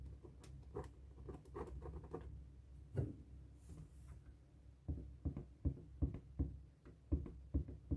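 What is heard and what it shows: A felt-tip marker writes "New Year" on the rubber surface of a hollow, light blue inflated latex balloon, making squeaky scratching strokes. Quiet, irregular rubbing squeaks come in short bursts with brief bright streaks over a dull, low body. A quieter stretch in the middle is followed by sharper, more distinct strokes toward the end.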